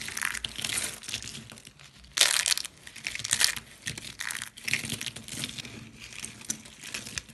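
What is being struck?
Soap shavings.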